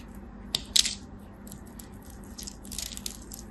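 An orange-and-white striped, palm-sized solid soap bar is held in hands with long white nails and scraped and shaved with a small utility knife blade, its flakes crumbling off. Sharp, bright scraping crackles stand out early, followed by softer, fizzy crumbling scrapes over a faint low hum.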